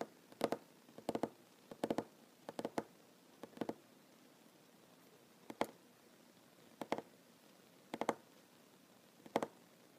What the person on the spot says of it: Tapping on wooden table, mostly one handed